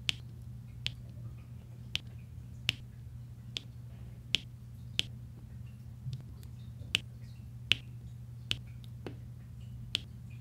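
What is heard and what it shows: Small solid resin drills on a flat diamond painting canvas are pressed with a white plastic roller and tapped into place with a pink plastic drill pen. Eleven sharp, bright clicks sound at irregular intervals, each dying almost instantly, over a steady low hum.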